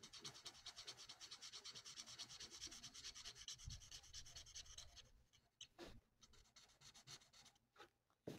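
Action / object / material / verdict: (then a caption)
scrape / felt-tip marker on a paper sheet / paper / none. A plastic alcohol marker's felt nib colours a thin, flat sheet of printed paper lying on a table, rubbed in rapid back-and-forth strokes. For about five seconds the strokes make a steady, bright, hissing scratch. They then thin out into sparser, quieter swipes with short pauses between them.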